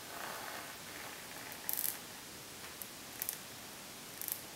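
Long nails scratch and tap across the front of a rose gold pebbled faux leather makeup bag lying flat on a wooden table. A soft, papery scratching hiss runs throughout, broken by short bursts of bright, crisp clicking taps. The sound stays quiet and close, and each tap dies away quickly.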